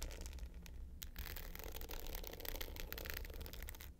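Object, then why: Glitter-covered hard-case clutch with metal frame. Long pointed nails scratch the dark blue glitter top of a small, rectangular, hollow hard-case clutch with a gold metal frame, lying flat. A steady run of dry, gritty scraping with bright crackling bursts sits over a constant low hum, and it fades out at the end.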